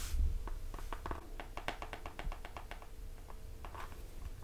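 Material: Cardboard.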